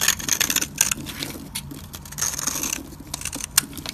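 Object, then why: Soap bar scraped with a metal blade. A solid, dry green soap bar held in the hand is carved and scraped with a metal utility-knife blade, peeling off flakes. The clip is a run of dry, bright, crisp scraping and shaving bursts with a few sharp ticks, with almost no low end.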